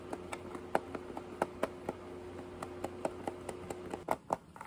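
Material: Plastic.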